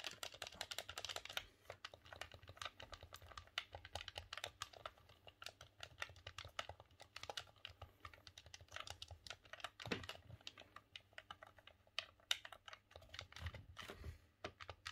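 A green, hollow plastic Nintendo 64 game controller is held in both hands while the thumbs tap and click its face buttons and D-pad. A rapid, uneven stream of short, bright plastic clicks fills the whole clip, with a few duller low thumps near the end.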